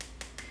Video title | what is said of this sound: Dehydrating Your Sourdough Starter | it is bone dry when I tap it it sounds like that sounds dry